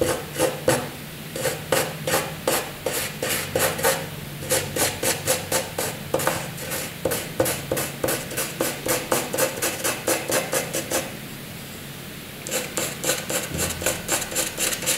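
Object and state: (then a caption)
Pencil scratching on drawing paper. A graphite pencil scratches across a flat sheet of white drawing paper, drawing looping and vertical lines. Quick, rhythmic dry strokes with a bright, rasping edge come in bursts of about four per second, with brief pauses near 4 and 12 seconds. A faint low hum sits beneath the strokes.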